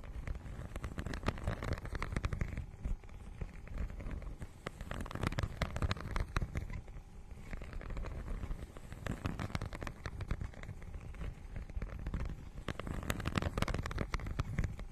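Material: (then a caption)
Plastic. Long nails scratch across the holographic, scale-textured plastic cover of a notebook-sized book. The result is a dense, crackly scratching that comes in waves of rapid, sharp ticks, mostly low and dull with little high brightness.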